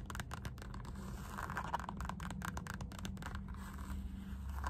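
Long nails tap and scratch the embossed strap of a black synthetic rubber Puma slide sandal, a shoe-sized piece of solid molded material. Quick, dry ticks mix with soft, scratchy rasps in a steady, quiet patter. A constant low hum runs underneath throughout.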